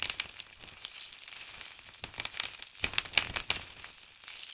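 Palms and fingertips press and rub into a large heap of crisp blue and grey dried soap shavings on a table, crushing the flakes. The result is a dense, bright, irregular crackling and crunching with almost no low end, and a few sharper, louder crunches around the three-second mark.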